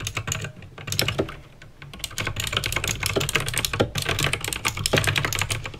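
Two hands type fast with fingertips and nails on a backlit mechanical keyboard with plastic keycaps and clicky green switches. A dense stream of sharp, bright clicks rises and falls over a low, steady undertone, with a brief quieter pause partway through.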